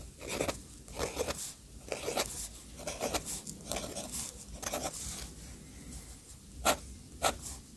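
Fingertips guide the metal nib of an orange fountain pen as it scratches small circles and lines across a paper sketchbook page. Soft, bright scratching strokes come in uneven bursts, ending with two sharper ticks of the nib near the end.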